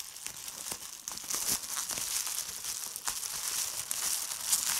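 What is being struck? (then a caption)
Plastic bubble wrap sheet. A large sheet of clear plastic bubble wrap with air-filled bubbles, resting on a checked tablecloth, is crinkled and squeezed by fingers with long red-painted nails. A steady bright, papery crinkle runs throughout, broken by sharp crackling snaps, with almost no low end.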